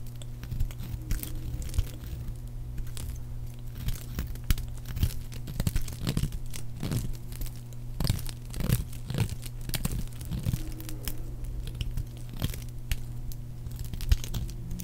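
A solid, dry pink soap bar is carved down with a metal blade, curls and chips falling away as it is scraped and cut. Repeated crisp, bright scraping and crunching strokes sit over a steady low hum.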